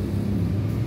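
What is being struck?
Nothing is struck.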